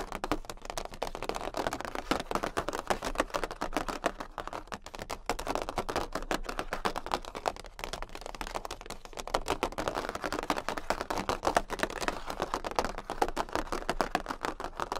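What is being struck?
Large cardboard playing card tapped with fingernails.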